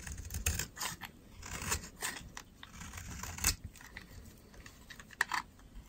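A solid, dry pink soap bar is shaved with a metal utility knife blade, giving a run of quick, dry scraping crunches with a bright, crisp edge and no ring. Crumbly dry flakes fall away as the blade cuts, with a few louder strokes standing out near the middle and end.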